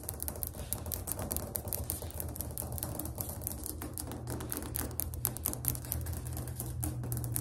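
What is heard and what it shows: Fingernails tap rapidly on a ceramic tile floor for ASMR, making a fast, dense stream of short, hard clicks. The taps are crisp and dry with almost no ring, layered over a steady low hum.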